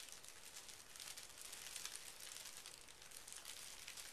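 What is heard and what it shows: A large, flat sheet of thin pink tissue paper lying on carpet is smoothed and rubbed with fingertips and short painted nails. It makes a steady, quiet, bright crinkling rustle that stays even throughout, with little low end.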